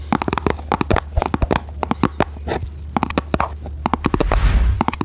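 Long red nails tap quickly on a small, hollow red printed cardboard box held in both hands, making a dense series of dry, short clicks over a steady low hum. Near the end the nails scratch across the box, giving a brief bright, rasping hiss before a few final taps.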